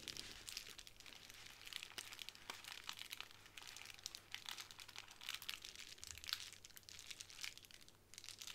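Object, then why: Plastic bubble wrap sheet. A small square of clear plastic bubble wrap on a wooden table is tapped and scratched by long nails, while fingertips press and rub the bubbles. The result is a steady run of bright, dry crinkles, crackles and sharp clicks that die away almost instantly, with very little low end.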